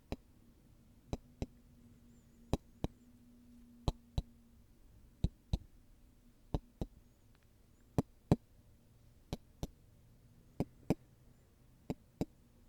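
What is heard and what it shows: Golf balls are tapped and handled, giving 19 short, sharp tick and knock sounds that mostly come in quick pairs at a steady rhythm. Each hit is crisp and dies away almost instantly over a quiet, low background hum.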